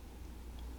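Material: Nothing is struck.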